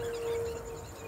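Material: Nothing is struck.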